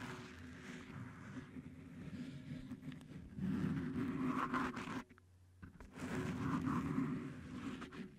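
Fingertips and nails of both hands scratch and tap blue stretchy cohesive (flex grip) tape wrapped around the hollow, fist-sized round metal mesh head of a Blue Yeti microphone. The result is a dense, low, muffled scratching rustle with soft taps that grows louder, drops almost silent briefly near the five-second mark, then resumes.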